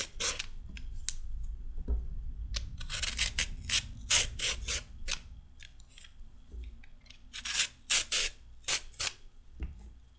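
A raw carrot is peeled into strips with a metal peeler, making a series of bright, crisp scraping rasps as the blade runs along it. Some strokes are quick and light, others longer and louder, over a faint low rumble. Each stroke ends sharply with almost no ring.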